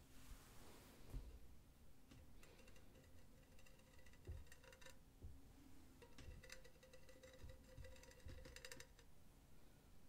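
Long teal-painted nails tap and scratch a hollow, empty, silver cylindrical wire-mesh pen holder close to the mic. Soft low taps and thumps are joined by stretches of bright, buzzing metallic rasping as the nails drag across the mesh. The whole clip stays quiet and close.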